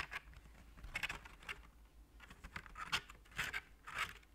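Fingernails tap and scratch the ridged surface of a hollow, gold-coloured, heart-shaped plastic chocolate tray or lid held in one hand. The sound is a quiet run of dry, bright scratches and light taps, with several louder scrapes standing out near the middle and end, and no ring after each touch.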